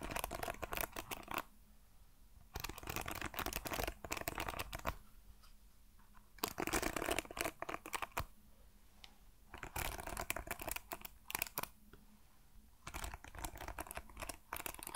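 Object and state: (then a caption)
Wooden hairbrush with metal pins. Fingertips and nails brush and scratch across the metal pin bristles of a hand-sized wooden paddle hairbrush. Bursts of rapid, dry, bristly clicking and scratching, bright and crackly, alternate with brief quieter pauses.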